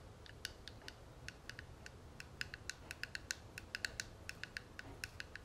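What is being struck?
Small metal cigarette case.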